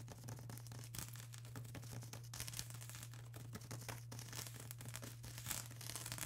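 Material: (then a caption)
Plastic. Long grey-and-pink acrylic nails scratch and tap a flat sheet of plastic bubble wrap lying on a table. Quiet, dense, crackly scratching and quick bright taps continue throughout over a steady low hum.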